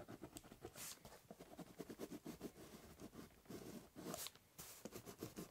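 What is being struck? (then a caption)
Corrugated cardboard box. The tip of a ballpoint pen draws lines across a large, hollow brown corrugated cardboard box. The result is quick, dry scratching and scribbling strokes with a soft, hollow papery rasp and brief bright edges.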